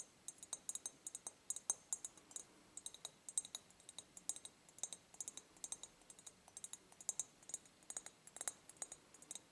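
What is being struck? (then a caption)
Empty ribbed glass jar. An empty, medium ribbed clear glass jar, held tilted, is tapped on its ribbed side with long nail tips. Dozens of quick, quiet, bright clicks come in an irregular, rapid rhythm, each dying away almost instantly with no low end.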